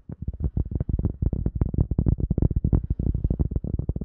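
A cork object is tapped rapidly for ASMR, producing a steady stream of soft, dull, low thuds. Each tap dies away almost instantly, with nearly all the sound in the deep low end and no bright ring.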